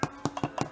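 Someone taps the underside of a large sourdough loaf fresh out of the oven, making five short, dull knocks with a low, hollow tone. The hollow sound shows the bread is baked through.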